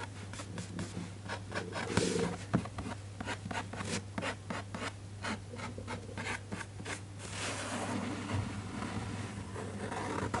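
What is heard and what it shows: A fingertip traces and rubs over the illustration on a glossy printed paper page of a large hardcover children's book lying open on a desk, while the other hand rests flat on the page. Soft, dry brushing and scratchy strokes repeat in quick succession, with a few louder swipes, over a steady low hum.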